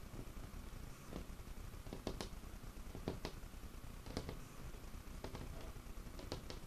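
Fingertips and short nails tap and scratch the surface of a large, solid, dark wood tabletop. Sharp, dry taps with very little ring stand out over a low, steady rumble, with soft scratching in between.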